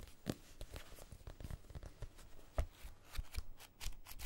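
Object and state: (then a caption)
Paperback book, pages riffled and scratched. Fingertips and nails scratch and riffle along the page edges and cover of a small paperback copy of Casino Royale, a solid block of paper. The result is a quiet, dry, card-shuffle-like stream of quick scratches and flutters with soft low thumps. Each sound dies away almost at once.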